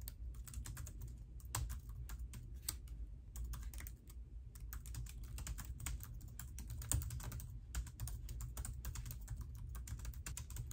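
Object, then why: Plastic laptop keyboard. Fingertips with long nails type on the black plastic keys of an open laptop in a pink case resting on a marble counter. A steady stream of small, quick key taps and light clicks continues throughout, with brief pauses, over a constant low hum.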